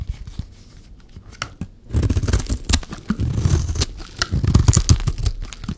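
A blade is scraped across the surface of a solid, dry yellow bar of soap, and shavings fall away. The first two seconds hold quiet, scattered scratches. Then a louder, irregular run of dry, crumbly scraping and crunching follows, with a dull low body under short bright flecks.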